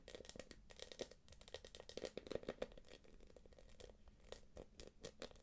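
Long nails tap and scratch across the quilted top and edge of a small, hollow, light-blue glossy quilted plastic purse. The result is a quiet, rapid stream of crisp clicks and crinkly scrapes with a faint hollow tone in the midrange. Each tap dies away almost instantly.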